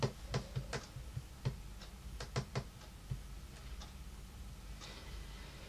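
Long painted nails and fingertips tap and lightly knock on a large, solid, dark wood-grain tabletop. Nine short, dull knocks land irregularly over the first three seconds, each a low, woody thud with a bright clicky edge from the nails that dies away almost at once. Faint, softer taps follow against a quiet background.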